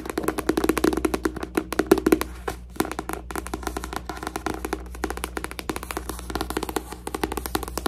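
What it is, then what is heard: Book. A paper book is tapped in quick, dry bursts, making short, woody clicks with a hollow body around the mid-low range. The taps come in rapid clusters with brief pauses, over a faint steady low hum.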